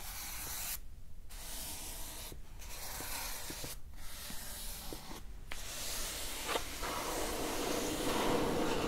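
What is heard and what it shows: Long nails scratch and rub across the top and edges of a plain brown cardboard box, closed and hollow. A steady broadband hiss of scraping is heard, with brief quiet gaps and a few faint ticks, growing slightly brighter and louder toward the end.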